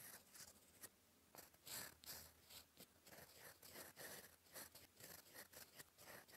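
A gold fountain pen nib writes cursive strokes in black ink across a flat sheet of lined cream paper. A quiet, bright, dry scratching is heard in a run of short strokes with brief pauses between them.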